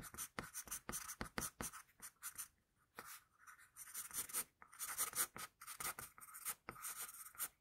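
An HB wooden pencil held in the fingers sketches on a flat sheet of drawing paper in short, repeated strokes. Each stroke gives a quick, dry, bright scratch of graphite on paper, with brief pauses between bursts. The sound is quiet and close, with little low end.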